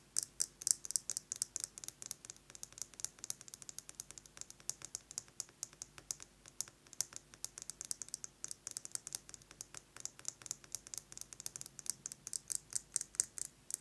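Fingernails tap rapidly on a metal lipstick case in a steady stream of light, bright clicks. The taps are short and dry, with almost no ring, and their energy sits in a high, crisp range. The loudness rises and falls in small clusters throughout.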